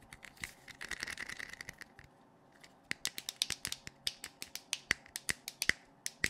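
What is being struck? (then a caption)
Plastic flashlight. A hand-sized, hollow blue plastic LED flashlight with a clear lens is held in the hands and tapped and clicked with fingertips and nails around its head and lens. A quick flurry of dense, bright tapping fills the first two seconds, then after a short pause comes a steady run of sharp, separate clicks. The hits are dry and short with a hollow plastic ring near 2 kHz.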